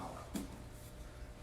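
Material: Bread.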